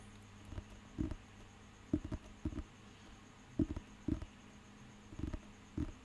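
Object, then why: Thick paper dictionary with a glossy cover. Fingernails and fingertips tap and scratch the glossy cover of a thick, solid, handheld paper dictionary. Seven short, dull, low thuds with brief scratchy edges come at irregular intervals over a faint steady hum, each dying away almost instantly.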